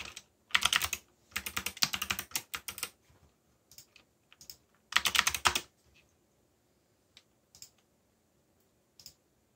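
Fingertips type in rhythm on a backlit mechanical keyboard with black plastic keycaps and yellow backlight, producing bright, crisp clicks. Dense bursts of rapid keystrokes come in runs, then thin out to a few scattered taps with short pauses between.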